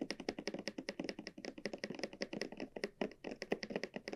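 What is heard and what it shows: Long nails tap and scratch the surface of a small, hollow, red croc-embossed leather cylinder bag held on a felt mat. A rapid, uneven run of dry, short taps with a hollow low-mid body sounds between faint scratchy textures. Each tap dies away almost instantly with no ring.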